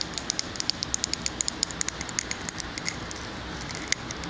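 A large glass candle jar filled with solid wax is held on its side and tapped on the glass with long fingernails. About 29 quick, bright clicks ring with high, glassy pings over a soft, steady hiss. Each tap dies away almost instantly.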